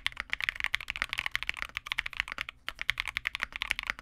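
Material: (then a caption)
Plastic. A small Vega65 65% mechanical keyboard with re-lubed Cobalts, white plastic keycaps and a dark case is typed on continuously with the fingertips of both hands. Rapid, bright, short clacking keystrokes with almost no low end run throughout, with a brief pause in the middle.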